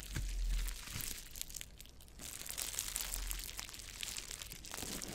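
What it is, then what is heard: Plastic bubble wrap. A sheet of clear plastic bubble wrap with hollow air-filled bubbles, folded around the top of a microphone, is pressed and squeezed by fingertips on both hands. It gives a steady stream of bright crinkling and crackling with scattered sharp pops over a soft low rumble.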